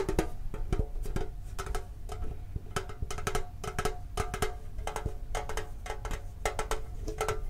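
Fingertips tap rapidly on a closed, hollow, hand-sized hexagonal printed metal Pokemon card tin held in both hands. The taps come in quick, uneven bursts, each a short, hollow knock with a tonal note near 320 Hz over a low, thumpy body. Each tap dies away almost at once, with little high sparkle.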